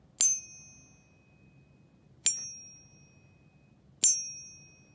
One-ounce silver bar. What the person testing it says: you definitely can tell that that's silver